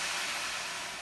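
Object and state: Nothing is struck.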